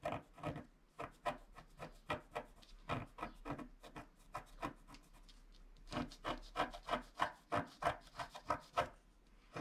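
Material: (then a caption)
Waxed paper. A wooden stylus scratches the black wax coating off near the bottom edge of a flat scratch-art card of black wax-coated paper while fingertips hold the sheet. The result is a quick, uneven series of short, dry rasping strokes with a bright papery edge, each dying away almost at once, with a brief quieter stretch midway before the strokes return louder.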